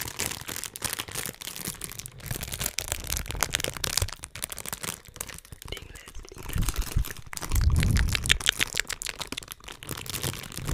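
A small, thin, empty transparent plastic bag is held in both hands close to the microphone and crinkled and rubbed between the fingertips. The result is dense, irregular, bright crackling and crinkling with short sharp snaps, plus louder low rumbling handling bursts around the middle and toward the end.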